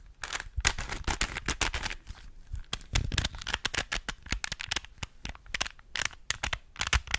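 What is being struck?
Plastic puzzle cube.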